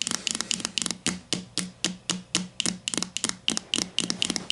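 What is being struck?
Plastic deodorant stick casing.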